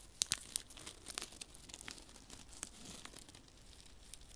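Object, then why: Paper sachet of silica gel beads. A small, flat paper desiccant sachet filled with silica beads is held in one hand while fingertips rub and crinkle it close to the microphone. Bright, dry crinkles and sharp crackling snaps stand out in the first half-second, then give way to a quieter, steady papery rustle with the occasional sharper crackle.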